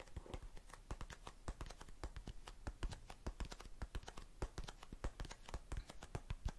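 Long nails tap and scratch the sides and lid of a small blue and clear plastic tub full of cotton swabs. It makes a rapid run of short, dry clicks with scratchy, brushing texture in between. Each tap stops almost at once, with no ring.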